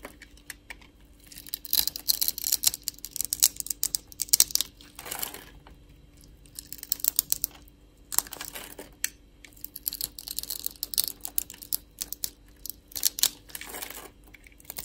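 A metal utility-knife blade shaves scored cubes off a solid, translucent, light-blue, palm-sized soap bar held in a hand with long nails. Bursts of bright, crisp scraping and crackling are heard, peppered with sharp little clicks, with quieter pauses between passes of the blade.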